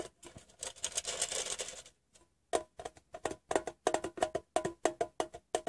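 A painted fingernail taps on a hollow, rectangular metal Wrigley's gum tin. It first plays a fast, dense patter across the bare metal bottom, then pauses and strikes the printed side in sharper, separate clicks. Each click carries a short, bright metallic ring around 640 Hz.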